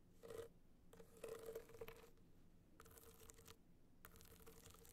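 A gold rhinestone-studded hard-shell clutch is tilted on fur while long nails scratch across its studded surface. The sound is quiet, bright scratching in several separate bursts, with a faint tone near 445 Hz.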